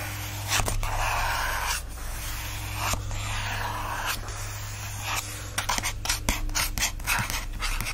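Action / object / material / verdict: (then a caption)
scrape / paper endpaper of a book / paper / none. Fingertips and nails scratch and rub the patterned paper endpapers of an open book. The result is a steady, breathy, bright rasp over a constant low hum, with sharper, quicker strokes crowding together toward the end.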